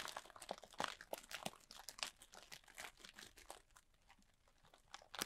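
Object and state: Plastic bag of foam beads.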